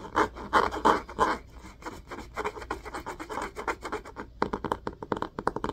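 Fingernails of both hands repeatedly scratch the orange, cloth-covered board spine of a solid hardcover book held spine up. Dry, raspy scratching strokes are centered in the midrange, loud and full at first, softer and busier in the middle, then quicker and crisper at the end, with each stroke stopping short with no ring.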